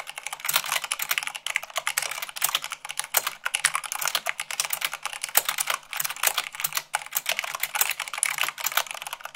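Fast fingertip and long-nail typing on a mechanical keyboard with white plastic keycaps on a black base gives a dense, continuous stream of short, bright clicks and clacks. Each keystroke dies away almost instantly, with no low-end body.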